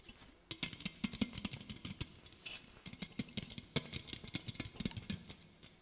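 An aluminum soda can is held sideways while a fingertip and nail tap and stroke its body. A rapid, uneven series of soft, short hollow taps has a low tonal ring and bright metallic clicks, with light scratchy strokes between them. The sound is quiet and close.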